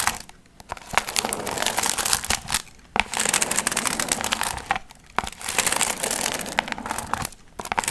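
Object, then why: Paper piñata with metallic foil fringe. Long nails scratch and crinkle the gold foil fringe on a medium hollow paper pumpkin piñata. Dense, bright crinkling and rustling arrives in long bursts, separated by brief near-silent pauses, with little low end.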